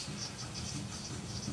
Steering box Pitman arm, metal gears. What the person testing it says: hear the play there's a lot of play in it